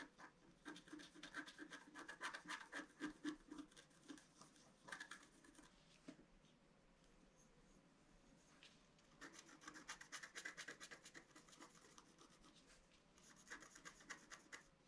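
A pointed wooden stylus scratches a flat A4-size scratch-art card, its black coating laid over a colored foil layer, as it rests on a table. Bursts of dry, rasping scratches with bright edges come in quick uneven strokes, pause to a faint hiss around the middle, then resume.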